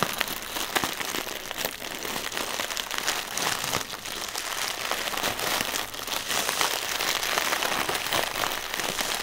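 Fingertips tap rapidly and fingernails scratch across the film of a single inflated, air-filled plastic air pillow used as packaging material. The result is a dense, steady stream of bright, crinkly ticks and scratchy rustling with almost no low end, like light rain pattering on plastic.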